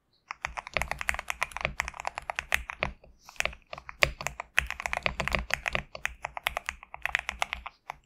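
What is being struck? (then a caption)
Mechanical keyboard with PBT plastic keycaps. Fingertips of both hands type steadily on a GMK67 compact mechanical keyboard with PBT plastic keycaps resting on a desk mat. A rapid run of short, bright clacks comes with brief pauses near the third and sixth seconds. Each keystroke stops almost instantly, with little low end.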